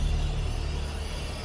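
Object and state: Nothing is struck.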